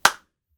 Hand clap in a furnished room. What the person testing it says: if it sounds dull it's probably just fine for recording